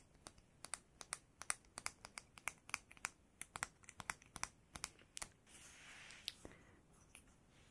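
A bamboo comb held in the hands is tapped, giving about 29 short, crisp, bright clicks in an irregular run with almost no ring. A soft rustling noise fills a short gap before the last few taps.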